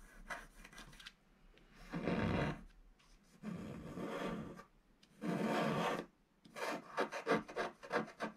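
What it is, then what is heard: Scratch-art board being scratched. A wooden stylus scratches the coating of a flat, black-coated scratch-art sheet about A4 in size, lying solid on a table, in repeated strokes along its bottom border. The result is a dry, rasping scrape: long sustained strokes alternate with brief pauses, ending in a run of quick, short scratches.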